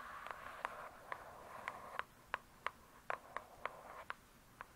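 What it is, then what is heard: Hardcover book tapped with fingernails. Long pointed acrylic nails tap quickly on the glossy paper-covered cardboard cover of a thick, solid hardcover "True Crime" book, seen from the spine side. Twelve quiet, sharp clicks ring off almost instantly, each centered around 1 kHz with a bright edge, over a faint steady hiss and almost no low end.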